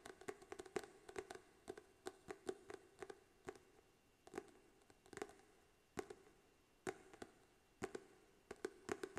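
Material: Card and paper.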